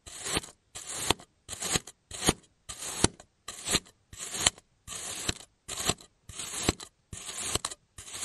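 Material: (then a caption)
Kinetic sand. A clear plastic cutting tool slices and scrapes repeatedly through a solid bird-shaped block of pink kinetic sand on a yellow surface, cutting off thin slices. Twelve separate strokes each give a short, bright, gritty scraping crunch, with brief silences between them.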